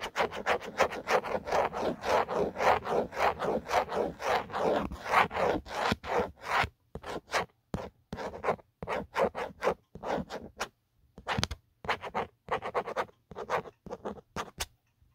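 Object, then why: Hard plastic phone case. A fingertip and nail scratch the grainy, textured hard plastic back of an empty black Otterbox phone case. Quick, dense rasping strokes run continuously for about seven seconds, then turn into shorter, separated scratches with brief silences between them. The scratching has a dry, papery, midrange texture with almost no ring.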